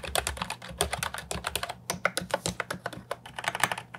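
An Ajazz 308I compact plastic keyboard with round typewriter-style keycaps sits on a wooden desk and is typed on with the fingertips. A quick, steady run of separate keystrokes is heard as sharp, bright clicks and clacks. Each stops almost instantly, with a faint low hum underneath.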